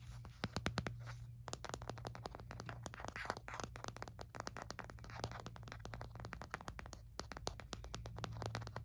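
Fingernails rapidly tap and scratch the back of an empty white frosted plastic phone case held in the hands. The sound is a dense stream of short, sharp clicks mixed with dry scraping, heard over a steady low hum.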